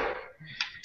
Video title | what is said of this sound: RC Car Cast ep 6 - Monster Trucks and Tractor Tires | Sounds like wood. Is it made of wood? Yeah, it is. It's balsa wood.